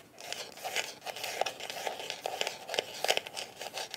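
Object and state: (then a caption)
Hard plastic glasses case. Long nails scratch and tap the top and sides of a closed, hollow black hard-shell eyeglasses case with a smooth faux-leather/plastic coating. The result is a quick string of crisp, dry clicks and scrapes with a hollow midrange tone and bright, high crackle, each dying away almost instantly.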